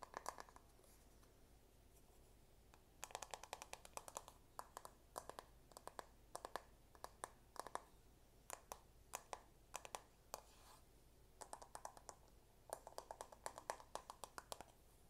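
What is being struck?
Plastic paddle hairbrush.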